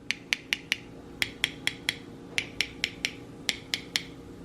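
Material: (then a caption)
Metal. Fifteen light taps on the metal lids of sealed glass canning jars of pressure-canned green beans, fresh out of the canner, come in quick groups of three to four. Each tap is a bright, high-pitched "ting" that dies away almost at once, the ringing sound of a properly sealed lid.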